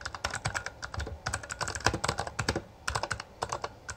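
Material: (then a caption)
Plastic. A Bloody B820R full-size black plastic mechanical gaming keyboard with backlit keycaps and a hollow housing is typed on continuously with the fingertips of both hands. It gives a rapid, uneven run of about 26 sharp, short key clicks and clacks. Each keystroke carries a low, hollow thock under a bright click.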